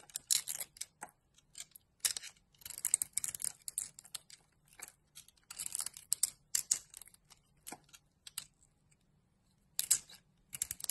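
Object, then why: Bar of soap. A solid bar of gold-glitter soap with a purple layer, held in the palm of a hand with long purple nails, is cut and scraped into thin slices with a metal craft-knife blade. The result is quiet, bright, crisp scraping and shaving rasps that come in short bursts separated by brief silences.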